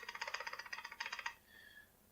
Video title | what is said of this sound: Details to Check When Looking at Used Doubles | that sound that means that there is a gap between the barrel and the face of the receiver